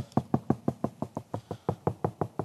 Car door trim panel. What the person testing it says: it's just really nice and solid now even just knocking on that I can actually hear that that panel is now nice and solid